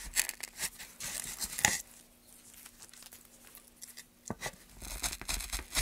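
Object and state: Pine board being carved.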